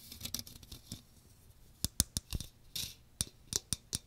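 Fingernails scratch the fine metal mesh dome of a small hollow strainer with a teal plastic frame, held close over a microphone. A soft, raspy scratching in the first second gives way to a series of sharp, bright scrapes and ticks with a light low thump underneath. Each scrape stops almost instantly, with no ring.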